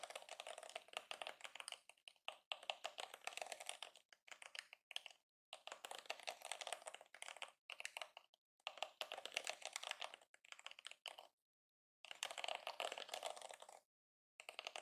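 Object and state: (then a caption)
Plastic hairbrush bristles flicked. A yellow plastic detangling hairbrush is held upright in both hands while fingers strum and flick its rows of plastic bristles. Rapid, dry, bright clicking and ticking comes in quick bursts separated by short silences, with no low end and almost no ring after each flick.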